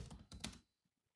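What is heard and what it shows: Fingertips of both hands tap slowly on the black plastic keys of a grey laptop keyboard. Three close clicky keystrokes each pair a soft low thunk with a bright click, then die away quickly into near silence.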